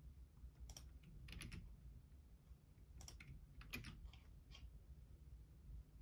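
Fingertips type on the left-side keys of a black plastic Logitech keyboard, giving short, bright clicks that come in small clustered bursts with pauses between them. A steady low hum sits under the quiet, dry key taps throughout.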